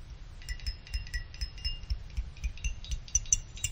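A thin stick-like pick plucks the fins of a small finned aluminum CPU cooler heatsink about a dozen times at an uneven pace. Each pluck gives a short, bright, high metallic ping that rings like a wind chime and fades quickly, over a soft low rumble.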